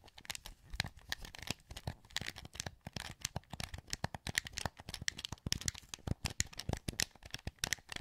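A translucent green, hollow plastic PS2 wireless controller is held in both hands while thumbs and fingertips click its buttons. The result is a quiet, rapid, irregular stream of sharp, dry plastic clicks and taps with a bright, crinkly edge and no ring after each press.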